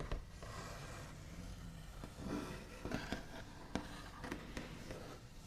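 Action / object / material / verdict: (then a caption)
tap / wooden table top / wood / none. The backs of fingernails tap and trace across the large, solid, smooth top of a white-finished wooden table. Quiet, low-weighted scratchy tracing runs throughout, broken by short, sharp taps that die away almost at once.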